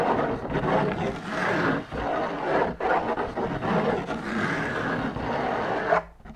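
Long nails scratch and rub down the white textured fabric outside of a large hollow drum lampshade. The result is a steady, raspy, mid-pitched scraping in repeated long strokes, with brief dips between them, that stops abruptly near the end.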